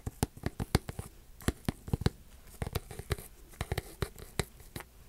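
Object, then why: Metallized plastic foil card pack. A single sealed Paradox Rift Pokemon card booster pack, small, flat, filled with cards and made of metallized plastic foil, is held in both hands and crinkled and rubbed with fingertips and long dark-painted nails. About twenty sharp, crackling crinkles come in quick, uneven bursts over a soft, low rustle, each one cutting off almost at once.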